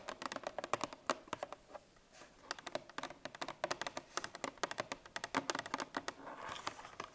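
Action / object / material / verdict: tap / coated cardboard milk carton / coated cardboard / none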